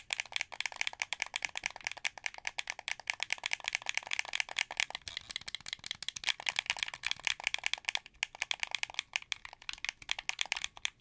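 A translucent blue, hollow plastic wired Xbox 360 controller is held sideways while fingertips click its triggers and bumpers. A fast, continuous stream of sharp, dry plastic clicks and rattles is heard, bright and centered around 2.3 kHz, with almost no low end and no ring after each click.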